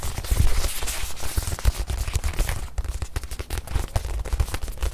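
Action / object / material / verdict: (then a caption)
tap / small padded leather watch pillow / leather / none. Fingertips and long nails tap and scratch the surface of a small white leather watch pillow held in hand. Rapid, dense, dull thumps carry heavy low-end weight, with each tap dying away almost at once, and brief bright scratchy rasps are mixed in between.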